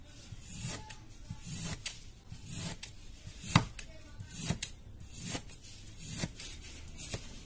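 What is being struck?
Block of kinetic sand cut with a metal blade.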